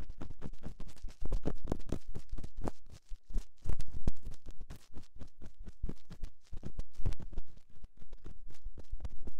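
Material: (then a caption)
Silicone. A thin metal ear-pick held in the fingers scratches slowly inside the canal of a soft silicone ear on a round white binaural microphone housing. Dense, irregular, muffled scratching strokes rumble heavily in the low end, each one short and dry, with some louder passes standing out.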